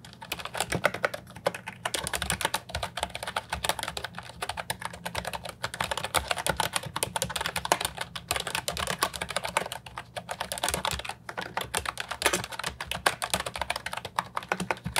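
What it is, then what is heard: Plastic mechanical keyboard being typed on. A brown and white plastic Ajazz 308I retro mechanical keyboard with round keycaps and a hollow body, resting on a wooden desk, is typed on continuously with the fingertips. Rapid, dense streams of short, crisp clacks with a bright top end run throughout, with brief pauses between bursts. Each keystroke dies away almost instantly.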